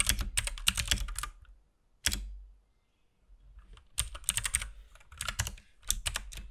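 Fingertips of both hands type on a compact RGB-backlit mechanical keyboard with plastic keycaps and a hollow case. Bursts of quick, bright clacks with a low thump under each press are broken by short pauses and a single isolated keystroke. Each press cuts off sharply with almost no ring.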